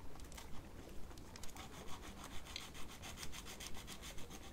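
An emery nail file is rubbed back and forth across the tip of a long plastic false nail on a small solid silicone practice finger held in the hand. It makes quiet, dry, scratchy rasping strokes in a steady rhythm of about two per second, each stroke a short bright swish over a faint low rumble.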